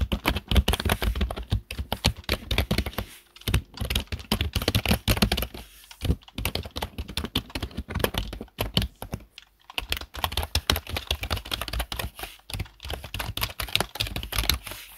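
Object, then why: Plastic computer keyboard. Fast fingertip typing on a black plastic desktop computer keyboard produces a dense, continuous stream of short, dry clicks with a thumpy low body and bright tops, broken by a few brief pauses.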